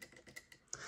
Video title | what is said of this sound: Mortice Matters: The View Within Part 8 - Fortress Picked With Running Commentary | if it's in the true gate then it's going to tap